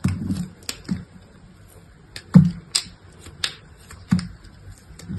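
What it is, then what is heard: Dry soap being cut. A utility knife blade scrapes and cuts brittle slivers off a small, solid piece of dried soap with a red painted surface and pale interior, held between the fingers. Crisp, short crunching snaps come in irregular bursts, each with a low thud and a bright crackle that dies away quickly in near-silence.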